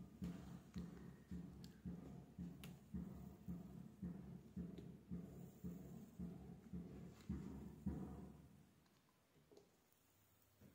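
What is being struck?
Bar of soap shaved with a metal blade.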